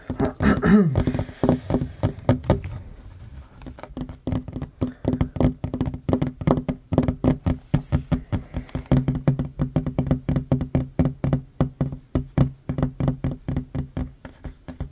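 Short fingernails and fingertips tap fast on a large, solid, worn wooden tabletop. The result is a quick, steady stream of dull, low knocks with almost no ring: a louder, denser flurry in the first few seconds, then evenly spaced taps through the rest of the clip.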